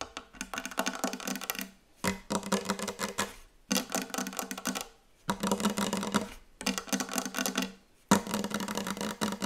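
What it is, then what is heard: Wooden table. Fingertips tap very fast and hard on a wooden table in six quick bursts separated by short pauses. Each burst is a dense run of crisp, dry knocks with a hollow woody tone centered around 200 Hz and a bright clicky edge, and the sound dies away quickly.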